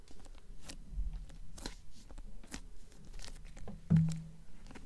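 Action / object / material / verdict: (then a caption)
tap / hardcover book with paper dust jacket / paper, cardboard / none. A blue hardcover book with a paper dust jacket is held upright in both hands while long nails tap rapidly on the dust jacket's front cover. The result is a quick run of soft, dull clicks with a faint papery crinkle over a low steady hum, and one louder tap near the end.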